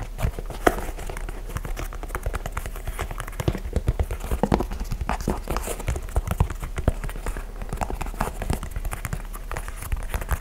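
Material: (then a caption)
Leather. Fingertips tap rapidly on the upper and sole of an empty white and grey leather high-top basketball sneaker with a speckled rubber midsole, held in both hands. The result is a steady stream of quick, dull, low-pitched taps that stop short with no ring.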